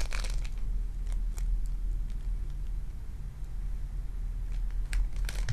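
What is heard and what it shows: A lump of sticky lilac foam bead clay is squeezed with fingertips and nails, then held and pressed in an open hand. It gives crisp crackling and crinkling bursts, bunched near the start and end, over a steady low rumble. The quieter middle has only faint, scattered crackles.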